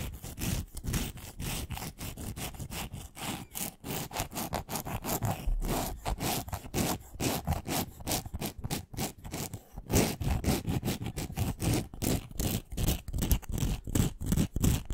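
Long nails scratch quickly back and forth along a long, thin, solid pink wooden pencil with a glittery coating, held close to the microphone. The result is a steady stream of rough, raspy, saw-like strokes with a full low body and brief bright edges. The scratching grows slightly louder and more forceful in the second half.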